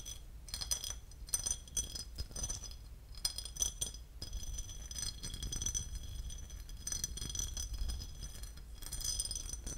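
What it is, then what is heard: Porcelain lid. A porcelain lid is tapped and scratched, giving quick, bright ceramic clinks and a light rattling scrape over a low, steady rumble. The taps come in irregular clusters with very short ring.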